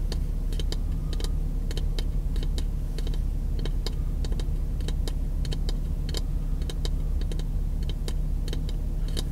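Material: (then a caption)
Wood. Fingertips, some wrapped in white tape, tap quickly along the face of a solid, light-colored wooden block about 20 cm long held in one hand. Short, dry clicks with bright, crisp tops come in uneven bursts, each dying away almost instantly. A steady low hum sits underneath throughout.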